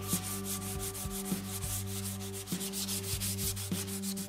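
Fingertips press a small piece of pink sandpaper and rub it back and forth along a long, solid, unfinished light maple-like wooden Telecaster guitar neck lying on carpet. The sanding makes a steady run of bright, scratchy, hissing strokes over a constant low hum.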